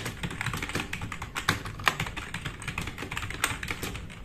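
Fingertips of both hands type fast on a compact RGB-backlit mechanical keyboard with black plastic keycaps resting on a wooden desk. A dense, steady stream of short, bright plastic clacks runs throughout, with a few harder strokes standing out near 1.5, 1.9 and 3.4 seconds. Each keystroke dies away almost instantly.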